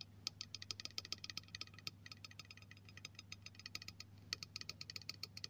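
Fingertips and nails tap the body of a hollow, silver aluminium aerosol spray can near its cap while it is held by hand. The result is a rapid run of about 37 short, bright, tinny clicks that die away almost instantly, over a faint steady low hum.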